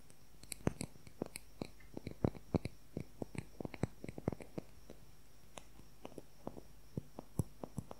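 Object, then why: Wooden colored pencil. Fingernails rapidly tap and scratch a long, thin wooden colored pencil with a red tip, held horizontally. Quick, dry clicks fall in an irregular stream, each a sharp, bright transient that dies away almost instantly over a quiet, steady low background.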